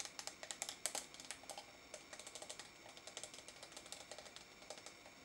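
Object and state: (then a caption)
Plastic tub of putty tapped with fingernails. Fingernails tap the walls and lid of a small pink translucent plastic tub of noise putty, filled with pink putty and held in both hands. About thirty quick, quiet taps, each a bright, dry click that dies almost instantly, come in a loose, uneven stream that grows slightly softer toward the end.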